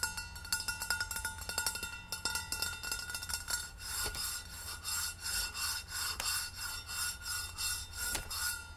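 A rose-gold stainless steel insulated water bottle, about 750 ml and hollow, stands upright on tissue paper with a cardboard hang tag on top while long red nails and fingertips tap and rub its sides. The first half brings quick, bright metallic clicks with a ringing tone near 1.4 kHz. The second half shifts to slower, rhythmic rasping scratches with occasional sharp taps.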